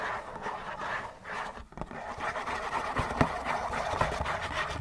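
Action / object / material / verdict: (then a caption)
scrape / printed cardboard tissue box / cardboard / none. Fingernails scratch fast across a hollow Kleenex tissue box of printed cardboard with a dispensing slot. The result is a dense, continuous papery rasp centered in the midrange, broken by a brief lull near the middle and a few sharper ticks toward the end.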